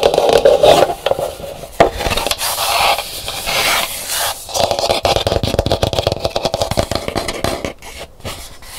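Long nails tap and scratch the rough outer shell of a large, hollow, dried calabash gourd bowl that sits upside down and empty, making dense, rapid scraping and tapping with a hollow mid-pitched ring. The bowl is then lifted and its edge is scratched, giving quicker, crisper strokes that fade lower toward the end.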